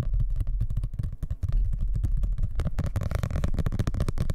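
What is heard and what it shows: A solid dark blue hardcover book is handled close to the mic while nails and fingertips tap and scratch fast across its cover and edges. The result is a dense run of quick, dull, bass-heavy knocks and rubbing with very little ring, growing busier and more crackly toward the end.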